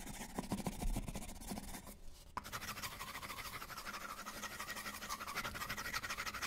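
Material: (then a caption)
Paper, plastic. A white, hollow paper coffee cup with a plastic lid is turned in the hands while fingertips tap the lid and scratch the cup wall. Quick, uneven taps and bright scratching rustle run throughout, broken by a brief quieter gap near two seconds that ends in a sharp click.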